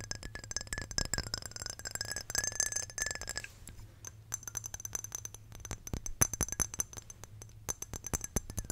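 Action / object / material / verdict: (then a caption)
tap / small glass perfume bottle / glass / none. Long painted nails rapidly tap and scratch a small square glass perfume bottle with a clear glass cap, partly filled with amber liquid and held in hands. Bright, sharp clinks with a high glassy ring come in quick clusters over soft scratching and a steady low hum.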